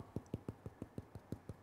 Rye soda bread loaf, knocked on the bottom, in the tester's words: it's hollow it's well baked